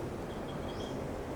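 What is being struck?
Nothing is struck.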